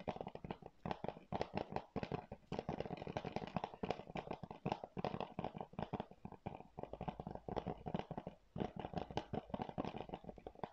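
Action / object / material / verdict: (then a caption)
tap / plastic game keep case / plastic / none. Fingernails scratch and tap a hollow blue plastic PS4 game keep case and its cover while it is held in both hands. The result is a dense, steady run of short, dry clicks and scratchy rasps centered in the midrange around 730 Hz, with very little ring after each tap.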